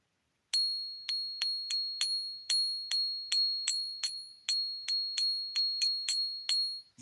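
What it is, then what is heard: Real silver bullion piece. A silver coin or round is given a ping test, sounding like real silver: 14 quick, bright pings each ring out at a pure high pitch with a fainter overtone. The sustained tone carries through the rapid strikes, ending with a soft low thud.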